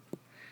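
A single soft, short tap on a thick paper copy of the complete works of Plato, which sits under a phone on a stack of books. The tap is a dull low-mid thud that dies away almost at once, followed by a faint, steady high hiss.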